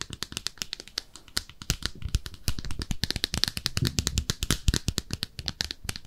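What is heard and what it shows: Long nails scratch and tap a small pink speckled ceramic soap dish shaped like a bathtub. The result is a rapid, dense stream of sharp, bright clicks and ticks with very short ring, over a soft scratching rustle and a low thump beneath.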